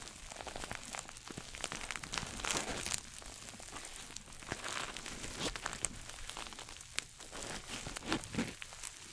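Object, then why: Coated nylon shoulder bag. A small red glossy coated-nylon shoulder bag with a pouch shape is scratched with fingernails and rubbed with fingertips close to the mic. It gives a dense run of bright, crinkly scratching and rustling with quick short strokes and little low end. A louder, busier stretch comes early and another flare near the end.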